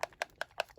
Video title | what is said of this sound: First DT project for Goedkoopstehobby.nl | if you can hear it there's like this little bubble in it that makes the ink mix very well